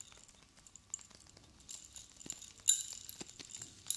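A silver metal chain necklace with many long metal cone spikes is held up in both hands and shaken while long blue nails tap the spikes. Quiet, bright metallic clinks and jingles come in scattered bursts with very short ring, with a louder cluster of clinks near the end.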